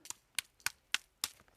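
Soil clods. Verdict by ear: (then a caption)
Hard. Two clods of hard, compacted orchard soil are struck together six times, giving sharp, dry clicks like stone or gravel with almost no ring. The soil is so hard it wounds the hand, and tree roots will not survive in it.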